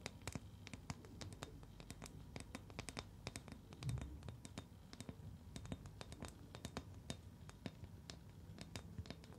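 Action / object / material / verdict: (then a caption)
scrape / liquid-filled rubber ball / rubber / none. Long nails scratch and tap a palm-sized, translucent green rubber ball filled with liquid, held in both hands. A rapid, steady run of crisp, bright clicks and scratches sits over a soft, low rumble, each tap dying away almost at once. The sound is quiet and close, with a slightly fuller swell near the middle.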